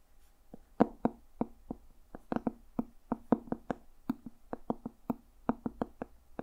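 A medium hardcover journal with a dark red leather cover and a brass owl emblem is held close and tapped with fingertips and nails in an irregular rhythm of 22 quick taps. Each tap is a short, dry, muted knock centered around 240 Hz that dies away almost instantly. The journal sounds solid.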